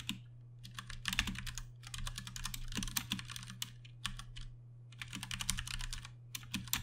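Fast typing with the fingertips of both hands on a compact 60% Ducky One 2 Mini mechanical keyboard with plastic keycaps and Cherry MX Brown switches. Quick bursts of sharp, bright plastic clacks arrive in rapid runs separated by short pauses, over a steady low hum.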